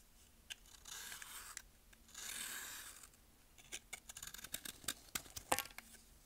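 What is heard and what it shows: A metal blade scrapes and shaves a compacted, solid pressed baking soda block held in hand over a bowl, letting powder and thin shavings fall. Two soft, airy, bright scraping strokes come first, then a quick run of crisp, dry crunching clicks and ticks that stop short with almost no ring.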